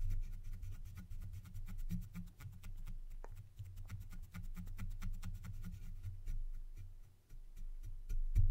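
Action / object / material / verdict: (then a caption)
scrape / foam microphone windscreen scratched with a wooden stick / foam / none. The tip of a long thin wooden stick, held in one hand, scratches a black foam windscreen on a silver microphone. It makes rough, irregular scraping strokes with a heavy, muffled low rumble and faint crisp ticks. The level stays steady before swelling louder at the end.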